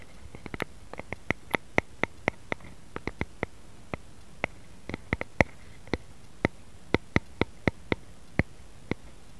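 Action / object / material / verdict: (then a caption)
tap / wooden rice paddle / wood / none. A light, solid wooden rice paddle with a long handle lies on a mat and is tapped and scratched with fingertips and nails. Crisp, dry clicks come in irregular bursts, each dying away almost at once with a bright, woody tone. Faint scratching runs between the taps over a quiet background.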